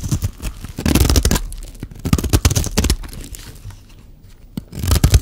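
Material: Soap.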